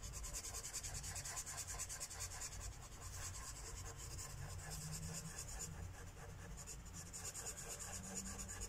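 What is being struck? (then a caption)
Felt-tip marker on a thin paper page. A felt-tip marker rubs in short coloring strokes across a thin paper coloring book page resting on a wooden table, while the other hand holds the page steady. A continuous dry, scratchy rubbing with bright hiss and a faint low hum underneath runs steadily throughout.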